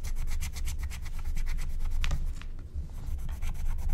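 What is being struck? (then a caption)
Scratch-art coated paper and wooden stylus. A wooden stylus scratches and rubs the coating off a thin, black-coated scratch-art card lying flat, while the other hand holds the sheet steady. Quick, rapid strokes make a dry, bright scraping rhythm over a steady low rumble. The strokes ease off briefly just after the halfway point, then pick up again.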